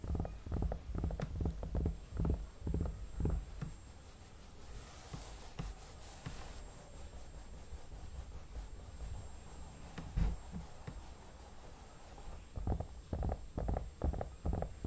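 Fingertips rub and tap the forehead and cheeks of a hollow vinyl mannequin head, producing dull, low, boomy thumps that die away quickly. Bursts of quick taps at the start and end surround a quieter middle stretch of soft rubbing, with a faint steady high tone underneath throughout.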